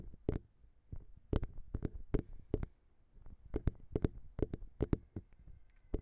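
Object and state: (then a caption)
Metal microphone capsule, tapped with fingernails. Long pink nails tap rapidly on the small, hollow metal XY microphone capsules of a Zoom H6. This produces a quick, irregular run of sharp, dry clicks. Each click has a bright edge and a low, thumpy body, and dies away almost at once.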